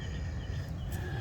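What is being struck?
Nothing is struck.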